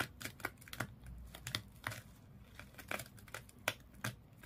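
Long nails scratch across the body of a small fish toy wrapped in colored, twisted sisal or jute rope. The result is a quiet string of quick, dry, crackling scratches with bright, fibrous edges and almost no ring after each stroke.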